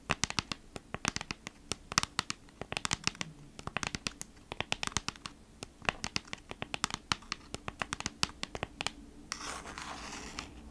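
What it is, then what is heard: Cardboard package, scratched and tapped. Fingertips and long nails rapidly scratch and tap the back of a flat kraft-cardboard package held upright in both hands. The result is dozens of sharp, bright, dry clicks and scrapes in quick bursts, ending in a steady, brushing hiss over the last second.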